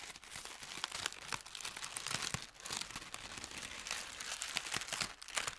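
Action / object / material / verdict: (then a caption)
scrape / thin paper sheet / paper / none. A crumpled thin white paper sheet is unfolded and stretched out by hand over a felt mat. A steady, dense run of bright, crisp crinkling and crackling continues throughout, with almost no low end and each crackle dying away instantly.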